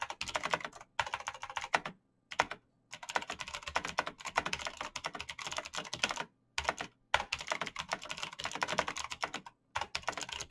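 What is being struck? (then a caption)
Plastic mechanical keyboard. Fast typing on a black plastic mechanical gaming keyboard with clicky green switches, backlit keys and a hollow case, struck by the fingertips of hands in fingerless knit gloves. Dense runs of sharp, bright clicky taps come in bursts, separated by several brief silent pauses. The clicks are short and dry and die away almost instantly.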